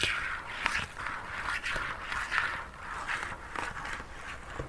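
A hollow, opaque white plastic lotion bottle with a pump top, about 20 cm tall, is tapped and lightly scratched along its body with fingertips and nails. Soft scratchy rustling and sharp tapping clicks give a bright, crackly texture that sits mostly in the upper-mid range.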